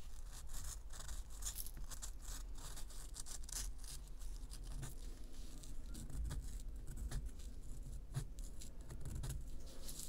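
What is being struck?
Pressed powder bath bomb.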